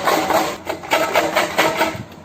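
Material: Metal.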